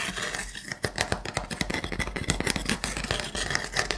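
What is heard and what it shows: Fingernails scratch and tap along the edges and gaps of a wooden block trivet held in the hand. Quick, dry clicks and short scrapes follow one another with a bright, rough texture and almost no ring, over a faint low hum.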